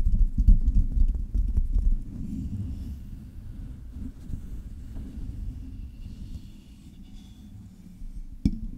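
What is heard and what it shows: Long red nails tap quickly on the hollow metal mesh grille of a silver Blue Yeti microphone, then move down to tap its metal body. The first two seconds carry dense, deep, muffled thuds. These give way to softer, steady tapping and rustling, with one sharp tap near the end.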